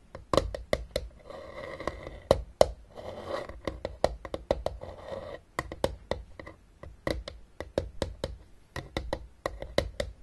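Long dark nails on both hands tap and scratch the top edge of a closed, hollow, blue plastic travel Battleship case resting on a table. Crisp, dry clicking taps come in quick, irregular runs, broken by stretches of soft scratching. Each tap dies away almost instantly, leaving a hollow, mid-pitched plastic tone.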